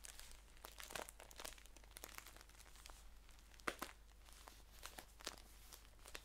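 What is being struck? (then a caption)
Paper tea pouch. Fingertips and nails rub, scratch and crinkle a green paper tea package, first held upright and then laid flat. Quiet, crisp crinkles and dry scratches come in quick, uneven bursts of bright, hissy texture. The sharpest crackle lands just before the four-second mark.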